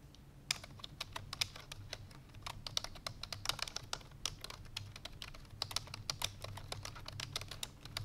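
Fingertips with long painted nails rapidly press the keys of a full-size black plastic computer keyboard resting on a white fur rug. The result is a fast, continuous stream of short, bright clicking taps, each dying away almost instantly, over a faint steady low hum.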